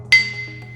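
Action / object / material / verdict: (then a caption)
tap / abrasive grinding wheel / abrasive stone / sound. A new abrasive grinding wheel resting on a piece of metal is tapped once for a ring test. It gives a single sharp strike followed by a clear, bright, sustained ring that fades gradually. The ring confirms the stone is good and uncracked.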